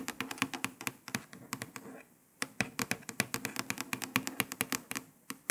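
Several long pointed nails tap and scratch quickly on a printed paper sticker stuck to a grey laptop lid. It makes a rapid run of sharp, dry, bright clicks over a faint scratchy rustle, with a brief pause near the middle. Each click stops almost instantly with no ring.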